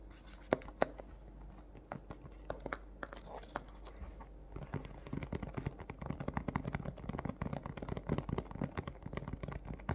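Long fingernails and fingertips tap on the front of a large, clear plastic clamshell dome, a hollow thin plastic shell holding a pink plush toy. The first few seconds have sparse, crisp clicking taps; after that the tapping turns rapid and continuous. Each tap is short and dry with a light crinkly edge.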